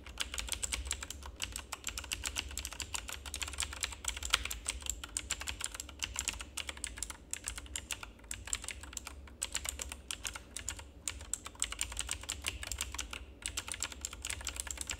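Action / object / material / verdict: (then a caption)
tap / plastic mechanical keyboard / plastic / none. Fingertips of both hands type steadily on a full-size black plastic mechanical keyboard with RGB backlight. It makes a fast, continuous stream of short, bright clicks that die away almost instantly, over a low, steady hum.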